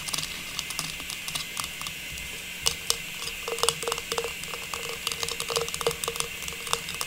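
A small hollow faceted silver metallized plastic star tree topper with a stem is held upright and tapped with long pink nails. A rapid, irregular series of light, crisp clicks sounds bright and thin, each dying away almost instantly over a soft steady hiss.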